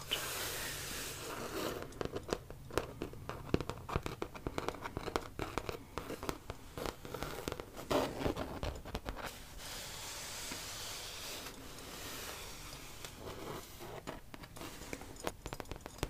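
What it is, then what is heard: Vinyl-covered hard suitcase. Long dark-painted fingernails scratch and tap along the printed front face of a large, hollow red vintage Snoopy suitcase, a hard-sided case covered in glossy printed vinyl with a yellow piped edge, held upright. A rapid stream of dry, crackly scratches and sharp little clicks dies away instantly, easing into a softer, steadier rasp midway before the quick tapping returns.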